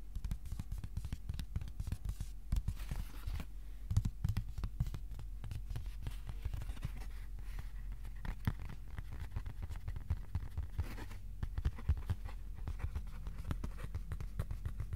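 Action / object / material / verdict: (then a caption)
tap / flat cardboard sheet / cardboard / none. A flat white cardboard sheet rests on a lap and is then held up while fingertips tap across it. The result is a long run of quick, dull, low taps with a slight scratchy edge, each dying away almost at once over a steady low background.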